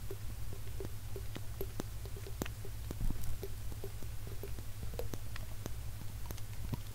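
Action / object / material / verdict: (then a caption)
tap / small glass jar with plastic lid / glass / none. A small, hollow, clear glass jar with a black cap is held up and tapped and scratched with fingertips and nails. Soft, quick clicks and faint scratches sit over a steady low hum that fills most of the sound. The taps ring only briefly.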